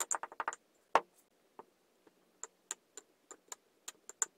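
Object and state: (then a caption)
Kinetic sand tamped in a glass. A wooden muddler tamps and presses layers of kinetic sand (green, then a multicolour ball, then blue) into a tall clear drinking glass. A quick run of dry, bright clicks and taps is followed by a single louder knock, then sparser, evenly spaced light taps. Each one is short, with almost no ring.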